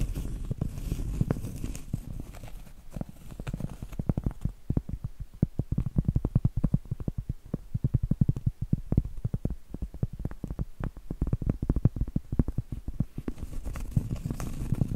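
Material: Cork.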